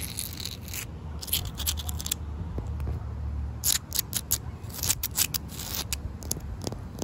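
Fingertips and long white nails tap and scratch the gritty surface of large, solid, damp concrete paving tiles with grooves. Bright, rasping scratches come in short bursts among quick, dry taps that die away at once, over a steady low rumble.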